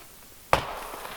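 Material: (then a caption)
Wood. A single sharp tap on one end of a small-diameter wooden log chosen as a tarp ridgepole, checking whether that end is solid. The tap gives a short, bright knock with a brief ring and little low end, and the log proves solid.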